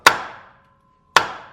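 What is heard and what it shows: A new steel wheel bearing on a 1995 Impala SS is driven in with an installer kit and a heavy hammer. Two sharp, solid metallic strikes ring with a brief bright decay and a faint lingering tone, showing the bearing is fully seated with no more room to go.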